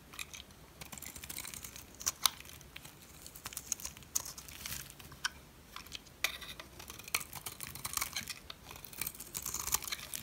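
A metal blade carves and chips pieces off a solid white dry soap bar. Dry, crunchy scraping and quick crackling snaps repeat throughout, bright and crisp with almost no low end. Each cut stops dead with no ring.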